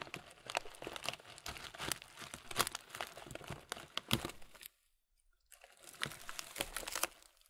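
A medium clear plastic muesli bag full of granola is squeezed and crinkled slowly with both hands, giving dense, bright crackling and crunching with sharp snaps. The crinkling stops for nearly a second of silence, then resumes and fades out.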